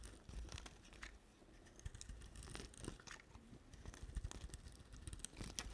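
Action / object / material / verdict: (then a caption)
scrape / soap bar / soap / none. A solid white bar of soap is shaved with a utility knife blade, and curls peel off as it goes. The sound is quiet and crisp: a run of short scraping and crunching strokes with bright edges over a soft low rumble.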